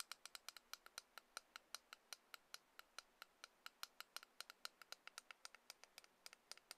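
A small, solid white plastic Lightning headphone adapter, a few centimetres long, is held between the fingers and tapped and clicked with long nails. About forty quiet, sharp, bright clicks come in a quick, uneven rhythm, each dying away almost instantly with no low-end body.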